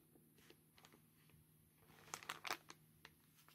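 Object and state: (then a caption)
Plastic mailer bag. Hard black claw tips scratch and tap across the paper customs label on a grey plastic postal mailer bag held close up, while gloves crinkle the plastic. Quiet, bright, dry scratches and taps come in a loose series, with the loudest cluster of crisp crinkles in the second half.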